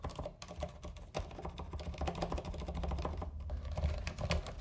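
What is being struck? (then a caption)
Plastic mechanical keyboard keys. Fingertips type rapidly on a compact white mechanical keyboard with a coiled cable and plastic keycaps, pressing keys and the spacebar. The result is a steady stream of short, crisp clacks with quick decay over a low, constant hum, and the typing grows slightly louder toward the end.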